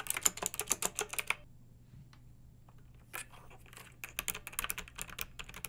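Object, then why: Plastic mechanical keyboard. A pink backlit mechanical keyboard with round, typewriter-style plastic keycaps rests on a fluffy rug and is typed on with long nails and fingertips of both hands. Bursts of crisp, bright clicks come at an uneven pace, with a quiet pause in the middle before the typing picks up again. A low, steady hum runs underneath throughout.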